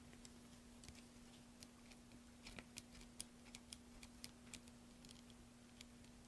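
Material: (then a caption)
Soap. A large solid green soap bar held in the hand is shaved with a metal carving blade, with the shavings falling onto a pile. Soft, crisp scraping and cutting ticks sound irregularly against a quiet background with a steady low hum.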